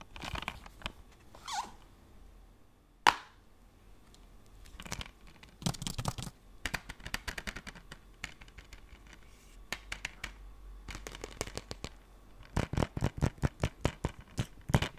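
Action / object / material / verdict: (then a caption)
tap / plastic game case / plastic / none. A blue plastic PS4 game case is handled and opened, then tapped with fingernails. Light scratching and clicking give way to a sharp snap around three seconds in. Quick bursts of bright plastic clicks and taps follow, ending in a rapid run of louder fingernail taps.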